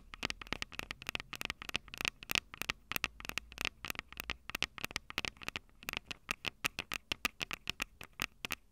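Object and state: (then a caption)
Audio recorder mic capsules tapped with fingernails. Long purple nails rapidly tap and scratch the metal mic capsule heads on a small Tascam DR-05 handheld recorder, a plastic-bodied unit with two metal capsules. Dozens of sharp, dry clicks with almost no ring sound close up, bright and high with a slight metallic tone near 2.6 kHz, mixed with faint scratchy rubbing between taps.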